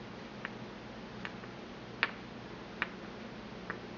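A porcelain pestle is tapped against the inner bowl of a small, empty white porcelain mortar held in the hand. Five short, bright clicks with a ringing tone near 1.7 kHz die away almost instantly. They come at slightly uneven intervals over a steady, quiet low background hiss.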